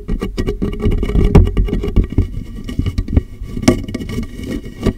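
Fingertips of both hands tap the sides and base of a large, empty, clear plastic water jug with a molded handle, held hollow and upside down over a microphone. A rapid run of soft, booming hollow thumps resonates low around 86 Hz, with a few brighter knocks standing out. Each tap dies away almost at once.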